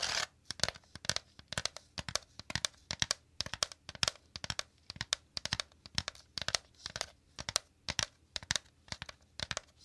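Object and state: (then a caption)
Woven bamboo basket. Fingertips and nails tap and scratch quickly on the woven inside surface of a shallow, empty woven bamboo/wicker basket held at the left of the mic. The result is rapid, dry clusters of crisp, crackly taps and scratches, bright and high with little low end, each stopping almost at once with no ring.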